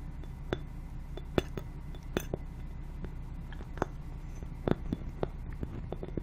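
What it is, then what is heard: Glass ball ornament tapped with fingernails. Long painted nails tap a small hollow clear glass Christmas ball ornament, decorated with white snow and topped with a metal cap, while it is held by its hanger. Irregular light clinks ring briefly with a mid-toned pitch and die away almost at once, over a steady low background rumble.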